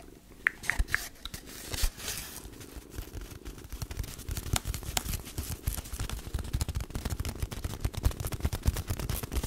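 Long nails tap and scratch along a long, hollow, empty brown cardboard tube laid horizontally across the top of a microphone. Three bright, ringing taps open the clip, then a dense stream of rapid, dry clicks and scratches follows. The sound is deep and hollow, with a low rumble under the sharp taps.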